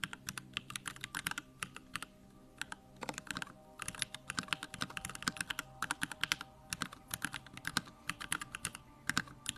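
Fingertips type quickly on a backlit compact Bakeneko65 mechanical keyboard with Durock lavender switches and plastic keycaps. Rapid, crisp clacks come in uneven bursts with short pauses. Each keystroke is bright and dies away almost at once.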